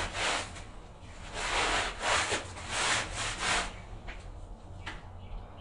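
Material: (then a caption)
Textile pile. A gloved hand scrubs a wet, medium-sized patterned pile rug back and forth with a handheld bristle brush; the rug lies flat on a tiled floor and is covered in soapy foam. Rough, bright bristle strokes swell and fade in an irregular rhythm over a steady low hum, then soften into lighter scrubbing near the end.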